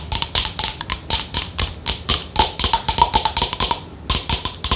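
Long nails tap and scratch the body of a pale green plastic lotion bottle with a white cap, held in the hand. About two dozen quick, bright, crisp taps land in an irregular rhythm, each with a short hollow ring and a faint tone near 1 kHz. Scratchy high rustles fill the spaces between them, with a brief pause just before the last few taps.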